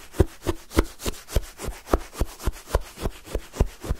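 A wooden spoon is repeatedly stabbed and dragged through a full cup of pale, granular lemon sherbet shaved ice. Each stroke makes a short, dry, crunchy scrape through the icy crystals, with a soft low thud as the spoon digs in. The strokes come in a steady series, about every third of a second, with little ring between them.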